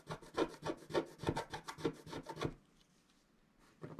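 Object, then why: Coated scratch-art card scratched with a wooden stylus. A wooden stylus scratches across a flat coated scratch-art sheet in quick, rhythmic strokes, making a dry, rasping scrape with a bright hiss. The strokes run steadily for about two and a half seconds, stop for a short near-silent pause, then start again at the very end.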